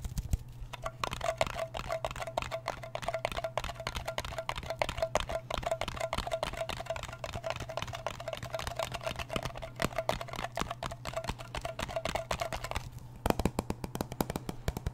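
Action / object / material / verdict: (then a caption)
tap / small round metal tin / metal / none. Fingernails tap rapidly on the lid and curved side rim of a small, round, blue metal Nivea cream tin, making a dense stream of short, dry clicks. A steady low hum runs underneath throughout, and a faint mid-pitched tone lingers through most of the clip before dropping away near the end.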